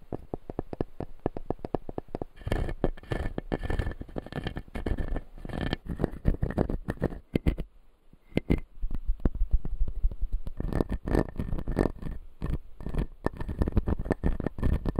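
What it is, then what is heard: Acrylic dental model with plastic teeth. Fingertips and nails tap and scratch the upper front teeth of a hand-sized dental model with white plastic teeth set in clear blue acrylic gums. The model is solid and empty. The clip is a dense run of quick, dull, low-pitched taps and scratchy rasps that break off into a brief near-silence around the middle before resuming.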